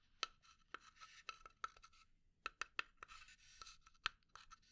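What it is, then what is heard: Pine wood box scratched with nails. Long nails scratch a small hollow pine wood box in quiet, bright rasping strokes. Twelve sharp ticks stand out, each with a short hollow ring around 1.3 kHz that dies almost at once, with soft scratching between them.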